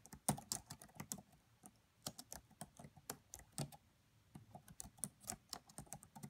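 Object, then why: Plastic laptop keyboard. Fingertips with medium-length acrylic nails and rings type on the black plastic chiclet keys of a solid red laptop, making quick, light tapping clicks. The bursts of short, bright clicks with soft low thuds come in irregular runs, pausing briefly twice.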